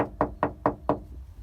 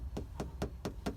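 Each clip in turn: First: hollow-sounding bare trunk panel. Second: solid, deadened steel trunk floor.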